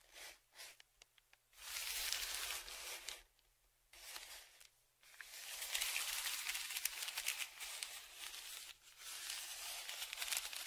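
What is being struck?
Kraft paper padded shipping envelope.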